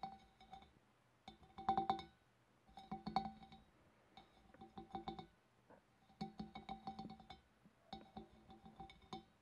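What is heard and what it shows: Long black nails tap on the rim of a large, hollow, empty clear glass fish bowl from above. Quick clusters of light, glassy clinks come in bursts separated by short pauses, each carrying a clear ringing tone near 780 Hz that dies away almost at once.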